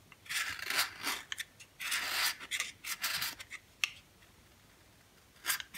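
A dry, yellow oval bar of solid soap is held in the hand and shaved with a box cutter blade. Bright, raspy scraping strokes come in irregular bursts, some long and some short and clipped. A quiet pause follows before one last quick shave at the end.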